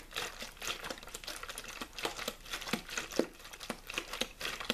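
A small, clear, thin-walled plastic water bottle with a blue label, hollow and mostly empty, is held in the hand and squeezed and crinkled by fingertips. Dense, bright crackling and crinkling pops come in quick, irregular bursts with little low end.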